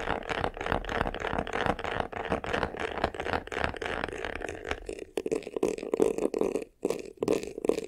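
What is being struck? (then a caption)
Textured faux-leather covered hollow box. Fingernails scratch quickly across the top and upper front of a medium, hollow vanity case covered in black croc-embossed faux leather. The result is a dense, rattly scraping with a hollow midrange tone. Partway through, the scratching turns into choppier bursts separated by brief pauses.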